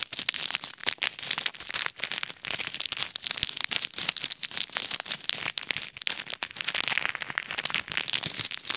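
Fingertips press and rub a small clear plastic bag of plastic pearl beads over an ear microphone. A dense, bright crackling and crinkling runs throughout as the beads shift inside the bag. Sharp clicks pop out of the steady rustle with almost no low end.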